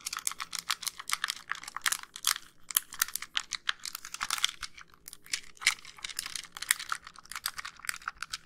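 Long nails tap rapidly on the back and front casing of a white, hollow plastic handheld game console. The result is a dense run of crisp, bright clicks with almost no low end. Each tap dies away almost instantly.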